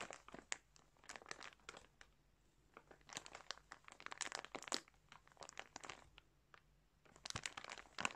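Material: Plastic.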